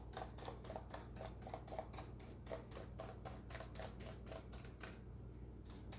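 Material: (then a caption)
Plastic. Rubber-gloved fingertips press and tap the keys of a black plastic laptop keyboard in a quick, typing-like rhythm. The result is a steady run of soft, bright plastic clicks with a slight mid-range tone, heard over a constant low hum. The clicks stop briefly near the end.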